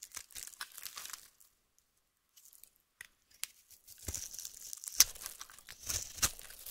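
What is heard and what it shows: A utility-knife blade slices thin strips and shaves cubes off a solid light-blue bar of soap held in the hand. Crisp, bright scraping and crunching cuts come in bursts, fall nearly silent for about a second, then return denser, with a couple of sharp snapping cuts near the end.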